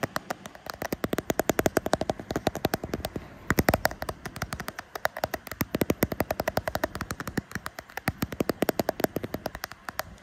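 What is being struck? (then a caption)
Smartphone in a plastic case. Short painted fingernails rapidly tap the back of a smartphone in a frosted translucent plastic case with a pink metal camera ring, near the camera bump. Dozens of sharp, dry clicks come in quick bursts with brief pauses, and each tap stops almost instantly with no ring.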